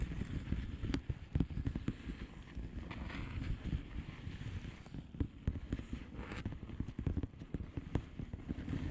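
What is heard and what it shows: Long painted nails on both hands tap and scratch across the bubbles of a blue plastic bubble wrap mailer lying flat. The result is a steady stream of soft, muffled, low-pitched taps with quick, dry attacks, layered over a faint scratchy rustle.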